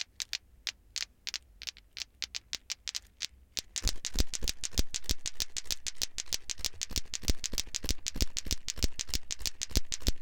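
A hand swings a green glowing lato-lato toy clacker, two small solid plastic balls on cords with a handle, so the balls knock together in sharp, bright plastic clacks. The clacks start sparse and quiet, then after a few seconds turn louder and much faster into a steady, rapid rhythmic clatter over a low background rumble.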